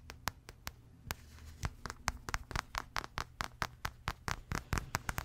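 Long red-painted nails scratch a small spotted fabric stuffed plush toy giraffe, making a rapid, uneven series of short, bright, crisp scratching strokes. Each stroke stops almost at once, over a steady low hum.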